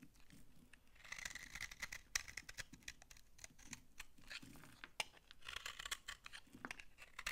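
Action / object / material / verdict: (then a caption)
scrape / laundry soap bar / soap / none. A utility-knife blade scrapes shavings off a dry brown laundry soap bar held in the hand. The sound is a quiet, dry, crunchy scraping with many short, bright clicks and rasps over soft low rustling.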